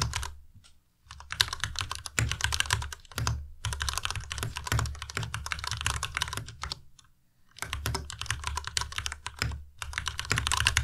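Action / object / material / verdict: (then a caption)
tap / plastic mechanical keyboard / plastic / none. A white plastic Ducky Miya Pro tenkeyless mechanical keyboard with RGB backlight is typed on continuously with the fingertips. It produces rapid, sharp, bright key clacks over a low thock, with brief pauses near the start and around the seventh second before the typing resumes.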